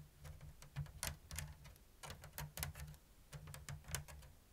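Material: Bamboo.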